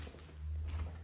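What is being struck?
Nothing is struck.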